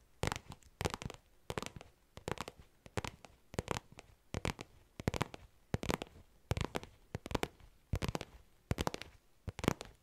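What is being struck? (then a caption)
Small faux leather zip pouch. A small, soft, hollow black faux leather zip pouch is tapped with long nails fitted with paper clips. Quick bursts of sharp, dry clicks and taps repeat steadily, with a soft low thud under each one and almost no ring between them.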